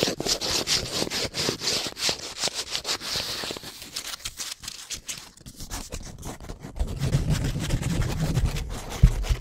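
Long painted nails rapidly scratch and tap a small printed cardboard soap box, making bright, dry rasping scrapes in quick, uneven bursts. The scratching thins out in the middle, then gives way to duller, low, hollow tapping and rubbing toward the end, with one sharper tap just before it stops.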